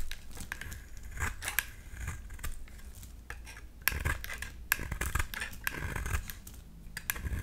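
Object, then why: Bar of soap shaved with a blade. A utility knife blade shaves curls from a solid dark green oval bar of soap held in the hand, with the curls falling away. The clip is a steady run of soft, dry scraping strokes, broken by sharp, bright clicks as the blade catches. A low rumble sits underneath throughout.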